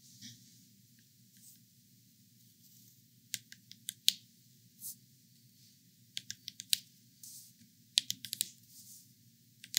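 Long painted acrylic nails tap and scratch across the hard, smooth rind of a large, whole, uncut yellow spaghetti squash, solid and dense, lying on a bamboo cutting board. About fifteen sharp, bright clicks come at irregular intervals, mixed with soft scratching over a faint low hum.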